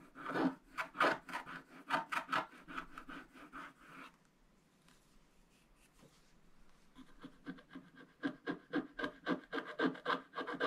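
A wooden stylus scratches the black wax coating off a thin scratch-art paper page, leaving scratched-off flakes on the table. Quick, dry scratching strokes come in a steady run for about four seconds, centered in the midrange around 1.2 kHz with some bright edge. After a near-silent pause of about three seconds, the strokes start again and build back to a brisk rhythm.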